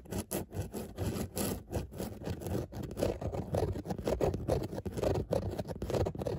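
Long nails scratch back and forth over grey textile car seat upholstery with a raised dotted pattern. The result is a steady run of short, rough rasping strokes, each one brief and dry. The sound is mostly in the low and middle range, with only faint high hiss.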